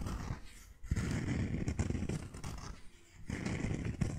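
A single white sandal with a cork footbed and three buckled straps is held in the hands while long nails scratch and tap across the footbed and straps. The result is a low, dense rustle of scratching with soft taps, broken by two brief quiet gaps.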